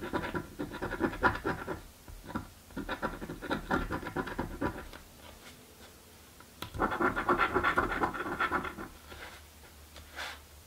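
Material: Coated card.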